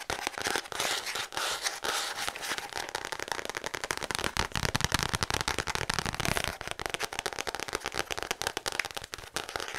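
Long acrylic nails tap fast and aggressively on the brown kraft cardboard back of a letter-size paper notepad. The result is a dense, unbroken stream of sharp, dry clicks with bright crackly detail and very little low end. The taps die out almost instantly and run steadily for about ten seconds, briefly swelling louder near the middle.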